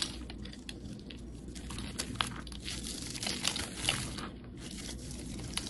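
A rectangular solid yellow bar of soap, held in the hand, is shaved and scraped with a utility knife blade, producing crumbly shavings. A steady, bright crunching and crinkling scrape runs throughout, with a few sharper, louder scrapes standing out. A low background rumble sits beneath.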